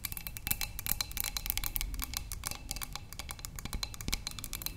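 Long nails tap rapidly along the sides of a narrow, clear glass cylinder vase holding tulips. The result is a dense stream of quick, bright, clicky taps that die away almost instantly, over a soft low rumble.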